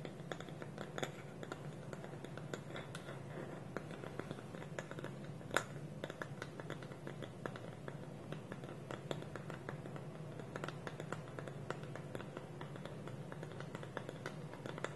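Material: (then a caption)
Wood. A small, hollow, polished wooden bowl, with its wooden lid held against it by both hands on a table, is scratched and tapped with a fingernail. A quiet, steady stream of short, dry wooden ticks and scratchy rasps continues throughout, each dying away almost at once, with one sharper, brighter tap standing out around the middle.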